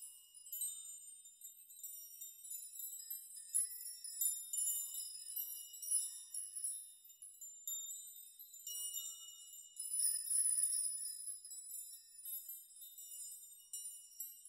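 Fingertips brush and rock a large curtain of many long hanging steel nails, so the nails jingle against each other. The result is a quiet, steady shimmer of bright, high metallic tinkles that swell and fade irregularly, with short rings and no low end.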